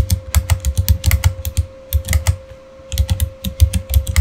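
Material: Plastic.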